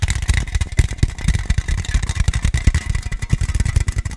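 Fingertips and nails rapidly tap along the side of a hollow, likely empty, white aluminium energy drink can. The taps come as quick, short, deep hollow thumps with faint bright clicks from the nails, each dying away almost at once.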